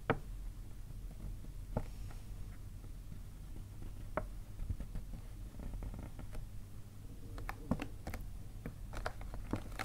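Fingernails tap rapidly on the front of a hollow white paper gift bag while hands hold its sides. The sound is a quiet, low-heavy rumble broken by short, sharp, papery taps and scratches with bright clicks that die away almost at once.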